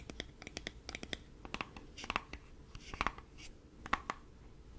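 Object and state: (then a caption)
Plastic body wash bottle. A hand-sized, hollow black plastic Axe body wash bottle is held in both hands while fingertips and nails tap and scratch its surface. The result is a quick run of short, dry clicks and taps with bright resonant plinks and faint scratching between them.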